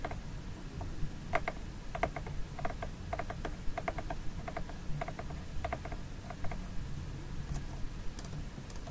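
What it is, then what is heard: Plastic food container tapped with nails. Fingernails tap and scratch the embossed lid and sides of a small, hollow red plastic Bonheur food container held in the hand with its lid on. Quick, dry clicks with almost no ring fall in irregular bursts throughout, over a steady low rumble.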